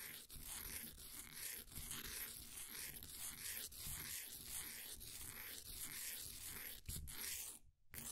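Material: Compressed powder.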